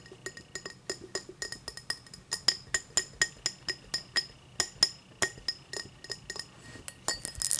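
Long matte black nails tap and scratch the faceted side of an empty, hollow tall cut crystal tumbler lying on its side. Around thirty short, bright glassy clinks come in a quick, uneven series, each with a high ring that dies away almost at once. Near the end they blur into a brief scratching rasp.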